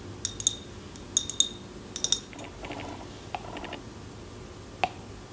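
Long nails tap and scratch a tall glass jar candle filled with wax, moving over both the glass and its paper label. Bright, short clinks ring near 3.7 kHz and fade almost at once. Softer scratching fills the middle of the clip, and a final isolated tap lands near the end.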